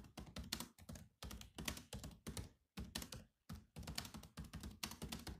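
A silver laptop with black plastic chiclet keys and a hollow shell is typed on quickly by both hands using fingertips. Fast repeated taps give short, dry thunks with a low body around 200 Hz and bright clicky tops, in bursts separated by brief pauses.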